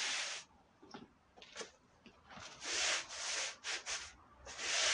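A long-handled push brush scrubs a small, dirty woven wool Persian rug covered in white powder. Each stroke makes a bright, bristly rasping hiss, with louder bursts at the start, middle and end separated by quieter, lighter brushing.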